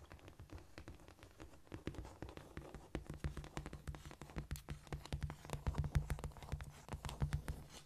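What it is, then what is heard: Cork floor. Long painted acrylic nails of both hands scratch and tap across a flat, solid cork floor. Quick, irregular clicks and scurrying scratches come in a dense patter, each tap short and dull with a low thud and no ring. The tapping grows somewhat louder toward the end.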